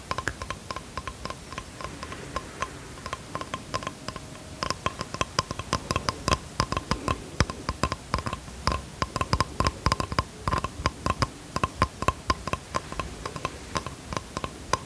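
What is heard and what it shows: Fingertips and nails tap rapidly on the wooden surface of a small, flat bamboo box held in both hands. The taps are dry, crisp clicks with almost no ring, some soft and some sharper, in an uneven, continuous run. A faint steady tone sits beneath them throughout.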